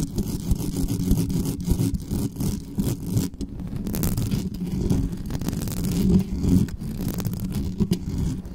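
Long nails scratch the top and sides of the hollow metal mesh grille on a black condenser microphone. The result is fast, continuous, rough scraping and rustling that sits almost entirely in the low range, with dense rapid strokes.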